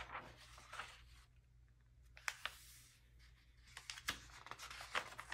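A palm and fingertips rub over the pages of an open early-2000s glossy paper magazine and turn its thin glossy pages one after another. Soft, breathy swishes alternate with sharp, bright crinkling snaps as each page flips. A faint, steady low hum runs underneath throughout.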